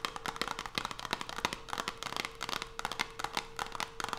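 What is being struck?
Closed cardboard soap box with soap inside.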